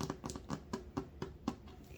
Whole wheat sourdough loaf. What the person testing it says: it sounds okay but i feel um using the whole wheat flour might have made it a little more dense than i would have liked